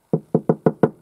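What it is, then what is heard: Iron tractor part. Five dull knocks on an iron body part of a T-40 tractor, each a short, low-pitched thud that fades quickly. Knocking shows it is solid iron, unlike a modern plastic part.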